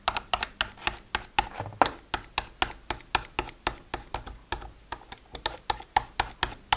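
A thin pen-like tool taps quickly across the hinged lids of a hollow, multi-row, translucent plastic weekly pill organizer. About thirty short, bright, clicky taps land in a steady, uneven rhythm, each dying away almost instantly with a hollow plastic tone centered around 760 Hz.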